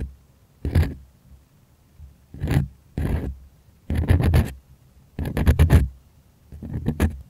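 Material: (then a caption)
Cotton canvas. Fingers and nails scratch the taut surface of a white, primed cotton artist canvas stretched on a wooden frame and held close to the mic. Six dry, rasping bursts of scratching are heard with quiet gaps between them, and the later bursts break into quick rapid strokes. Each burst stops abruptly with almost no ring.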